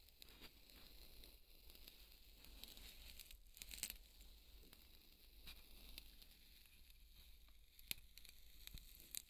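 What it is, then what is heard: Polystyrene foam ball. Fingertips rub and scratch a large, white, solid polystyrene foam ball, then lift it. The result is a quiet, steady, bright crinkly scraping with a squeaky, squishy texture over a low hum, broken by a few sharp clicks near the end.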